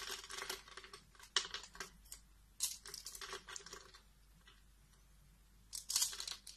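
A blade cuts thin pieces off a solid pink soap bar that has been cut into slits and is held in the fingers. Quiet, bright, crisp crackling and scraping bursts come in quick clusters, with a short pause in the middle before a final flurry.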